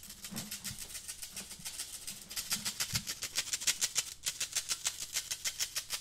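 A small, hollow, empty black metal wire-mesh desk pencil cup is held in one hand and scratched along its mesh sides with the fingernails of the other hand. The result is a fast, steady run of bright, dry rasping strokes with almost no low end, each dying out almost instantly. The strokes grow louder and crisper partway through.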